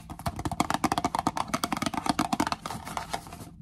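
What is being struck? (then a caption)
Small printed cardboard tea box tapped with long fingernails. A small, hollow Twinings green tea box made of printed cardboard is held in the hand and tapped and scratched with long acrylic nails. A rapid string of dry, hollow clicks gives way to softer, continuous scratching near the end before it falls silent.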